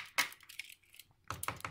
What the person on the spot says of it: она не пенопластовая, это пластик. То есть по нему, если постучать, это белый пластик. Он довольно тяжелый.